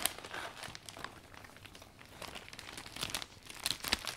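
Hands grip, fold and rub the thin iridescent vinyl canopy of a new closed umbrella, its plastic folded around a metal shaft, while wiping it down. The plastic gives off a steady stream of bright, high crinkling and crackling with brief sharper snaps and almost no low end.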